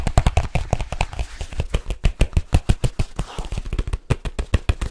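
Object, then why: Large leather case. A large black leather case is held up and curved while fingertips and nails tap on it rapidly. The result is a quick, steady stream of short, dull, deep thumps with little brightness, each dying away almost at once.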